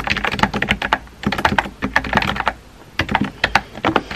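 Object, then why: Plastic mechanical keyboard. Fingertips with painted nails rapidly tap the keys of a compact, hollow-bodied pink plastic mechanical keyboard with round white-and-pink typewriter-style keycaps, resting on a desk. Short, dry, bright clacks come in quick bursts with a brief pause midway. Each click dies away almost instantly.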